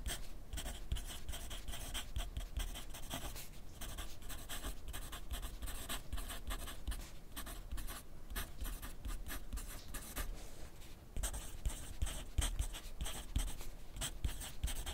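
A wooden graphite pencil scratches across a thin sheet of grid paper clipped to a flat clipboard on a desk, making steady writing strokes. The dense, rapid scratching carries a low thudding body under bright papery hiss. A brief lull comes around eleven seconds before the writing picks up again, slightly louder.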